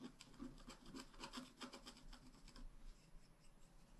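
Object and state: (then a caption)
Wax-coated scratch-art card being scratched. A wooden stylus tip scratches a flat, black wax-coated scratch-art page, about A5 size, made of solid thin card and resting on a table. Quick repeated scraping strokes give a dry, rasping sound with a low hum around 250 Hz and bright streaks on each stroke. The strokes grow sparser and softer toward the end.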